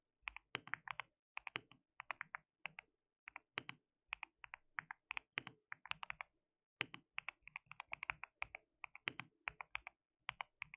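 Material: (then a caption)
Plastic. Fingertips of both hands type on a white plastic mechanical keyboard with translucent keycaps. Quick bursts of bright, crisp key clicks come in short runs separated by brief pauses. Each click is dry and stops almost instantly, with little low-end thump.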